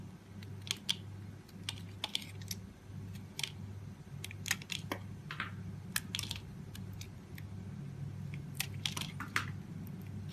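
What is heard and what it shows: A solid, oval, translucent green glycerin soap bar held in the palm has its surface scraped with a utility knife blade, curling off thin shavings. The scraping comes as a rapid series of crisp, dry clicks and short bright scratches, some drawn out into brief rasps. They sit over a steady low hum, and each one dies away almost at once.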